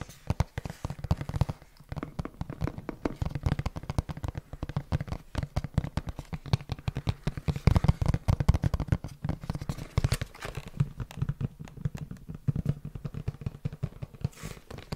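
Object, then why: Printed cardboard box. A hollow, printed cardboard retail box, held in both hands, is tapped and scratched quickly with the fingertips close to the microphone. Dense, rapid, dry taps with low, hollow thumps and soft scratching continue throughout. Each tap dies away almost at once.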